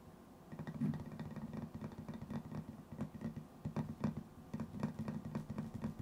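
A small, round metal tin with a white lid, likely hollow, is held in one hand and tapped on the lid with the fingertips and nails of the other. Quick, uneven taps land in close succession, each a soft, dull knock with a low hollow tone that dies away almost at once, over a faint steady background.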